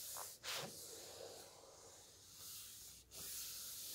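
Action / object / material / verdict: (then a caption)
scrape / hardcover book with coated glossy paper pages / coated paper / none. A large open hardcover coffee-table book with coated glossy pages is handled as fingertips slide over the pages while turning them and a flat palm rubs across the printed photo spreads. A steady, bright, hissy rustle of paper friction fills the clip, with two brief dips in the sound where the pages turn.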